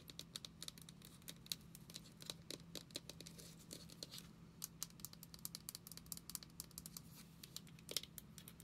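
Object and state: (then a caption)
Small plastic lotion bottle. Long nails tap and scratch the label and body of a small, travel-size white plastic lotion bottle with a brown screw cap. Dozens of quick, dry, bright clicks and scraping strokes come in an irregular run over a quiet, steady low hum. Each hit dies away almost instantly.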